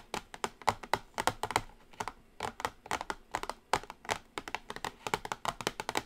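Long acrylic nails tap quickly on the closed lid of a small, pink-edged cardboard Revolution NOW makeup palette box shaped like a cassette player. The result is a rapid, uneven run of sharp, dry clicks with a bright, papery edge and almost no ring, coming in quick clusters with short pauses between them.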